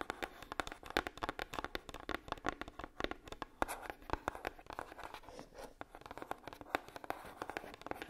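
Long nails tap and scratch the lid of a red, hollow, medium-sized heart-shaped box, likely coated cardboard. A quick, steady run of light, dry clicks, centered around 812 Hz, mixes with soft scraping between them. Each tap stops almost at once.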